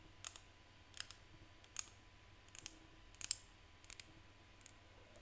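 Seashells are tapped by hand, giving short, bright, dry clicking taps that come in irregular pairs over a faint, steady background hiss. Each tap dies away almost at once.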